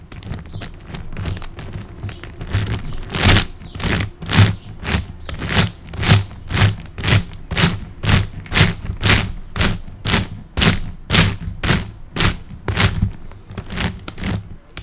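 A large plastic high-order puzzle cube is held in the hands while fingertips tap and rub its tiled faces and its layers shift slightly. This produces a steady rhythm of short, dry plastic clicks and soft thuds, about two per second, with a low body and bright, crisp edges.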